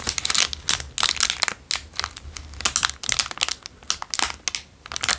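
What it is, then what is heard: Clear plastic wrapper. A small, square, crumpled, empty clear plastic wrapper is crinkled with the fingertips. It makes dense, irregular bursts of bright, crackly crinkling that come in quick clusters with brief quieter gaps. A faint low hum sits underneath.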